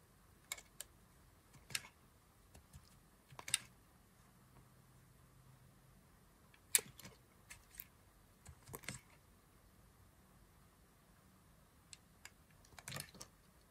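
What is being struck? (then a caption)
Bar of soap cut with a knife. A thin knife blade carves a solid green dry soap bar held in fingers with long glitter nails, shaving off chips with a scraping, cutting action. Short, crisp, bright scrapes and clicks come at irregular intervals over a quiet background, each dying away almost instantly.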